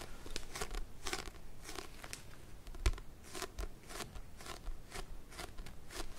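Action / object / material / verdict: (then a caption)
scrape / paperback book, paper block with card cover / paper / none. Fingernails tap and scratch along the spine edge and card cover of a small paperback book, a solid block of paper. The result is a quiet, dry series of rapid, bright scratchy bursts with almost no ring, plus one sharper tap near the middle over a faint low rumble.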